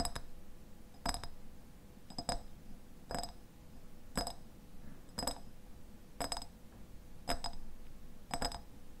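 A medium clear glass jar with a white lid, partly filled with pale contents, has its glass sides tapped with fingernails. Short, bright clinks with a high ring sound roughly once a second over a low background rumble, each dying away quickly.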